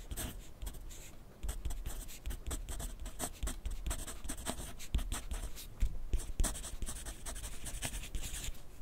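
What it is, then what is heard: Pencil writing on paper. A wooden graphite pencil writes continuously on a sheet of lined paper clipped to a flat clipboard on a wooden desk. The pencil tip makes quick, dry scratching strokes in steady short bursts, each with a soft, low thump from the clipboard underneath. The strokes die away almost at once.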